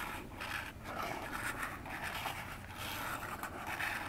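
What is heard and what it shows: Long fingernails scratch and tap the front face of a hollow orange cardboard phone box standing upright. The result is a steady, dry scratching texture with light taps blended in, concentrated in the mid-range with some bright edges and little low end.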